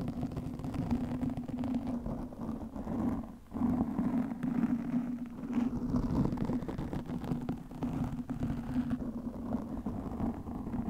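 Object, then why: Foam microphone windscreen. Long fingernails scratch over the top and sides of a soft, porous black foam microphone windscreen. The result is a steady, dense scratching rustle with a low, humming tone underneath, easing briefly for a short dip before continuing at an even level.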